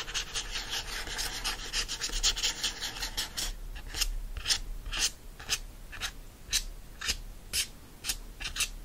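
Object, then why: Cardboard hardcover book cover. Fingertips and short nails scratch the front cover of a yellow hardcover book, "You Deserve Good Gelato," which has a solid cardboard cover wrapped in printed paper. For the first few seconds the scratching is fast and dense, producing a continuous bright, raspy texture. It then slows into separate, evenly spaced strokes, each a short crisp scrape with a high, papery hiss.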